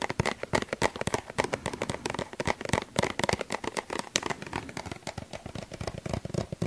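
A small, hollow, yellow plastic suncream tube is held in the hand while fingertips and nails tap on it. The result is a dense run of rapid, short, dry clicks and crackly taps with a bright edge and almost no ring after each hit.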